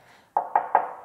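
Three knocks on the steel body panel of a Vespa scooter give short, bright metallic taps centered around 850 Hz, each dying away within a fraction of a second. The panels are steel, not plastic, because the Vespa's monocoque chassis makes the body and frame one piece.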